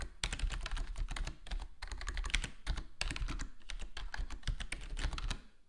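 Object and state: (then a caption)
Plastic mechanical keyboard. Fingertips of both hands type rapidly on a black HyperX Alloy Core gaming keyboard with foam-modded plastic keycaps, set on a solid desktop board. A dense, steady stream of short clacky keystrokes mixes a deep, muted thump with bright clicks, each dying away almost instantly. The typing runs continuously before tapering off at the end.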